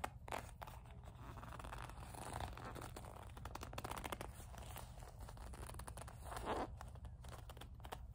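Long nails grip, squeeze and scratch a small, hollow black leather coin purse with a metal kiss-lock frame, and the clasp is handled. A steady, quiet stream of soft crinkling, scraping and crunching texture sits over a low rumble, with a couple of slightly louder rustling swells near the start and around six and a half seconds.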